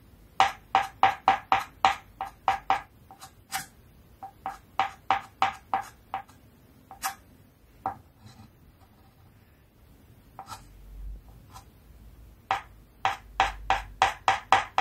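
A stick of white chalk held in the fingers draws fine lines of a dog's face on a flat, thin, solid black card or chalkboard sheet lying on a table. Quick rubbing and scratching strokes come in fast bursts, each with a short, bright squeak pitched near 780 Hz. A quieter, sparser stretch in the middle gives way to another quick run of strokes at the end.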